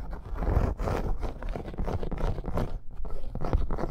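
Long acrylic nails scratch fast across a flat, thin red snake-embossed faux leather bracer. The result is a steady, dense, crunchy scraping texture with rapid short strokes, mostly low in tone with almost no bright content.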